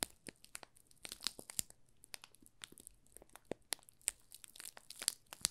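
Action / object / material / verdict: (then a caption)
scrape / thin plastic film wrapped around a soap bar / plastic film / none. Thumbs press and rub the thin clear plastic film wrapped around a small solid yellow soap bar, making it crinkle. Bright, dry crackles and sharp snaps come in an uneven run with no ring-out, over a faint low hum.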